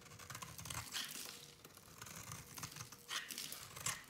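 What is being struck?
Bar of soap cut with a small blade.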